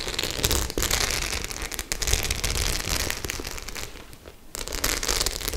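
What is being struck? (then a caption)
Faux leather clutch bag with metal studs. Long nails scratch and tap across the metal studs of a hollow white faux leather clutch bag, making a dense, bright crackling and clicking with a low, hollow thump underneath. The scratching runs almost continuously, eases briefly just past the four-second mark, then picks back up at full intensity.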